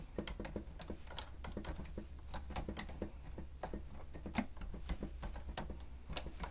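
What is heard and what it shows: Fingertips and nails of both hands rapidly press the keys of a grey plastic stenotype machine with a screen. The result is a quick, irregular stream of short, bright plastic clicks and taps. A steady low hum runs underneath throughout.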